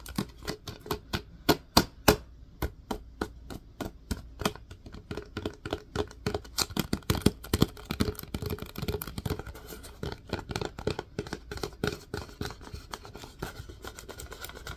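A plastic disinfecting wipes canister is held on its side while an open hand and fingertips tap its body and bottom. The result is a long run of short, hollow plastic taps with a low thump and a dry mid-range knock that dies away almost at once. The taps start spaced apart and then come quicker and more densely.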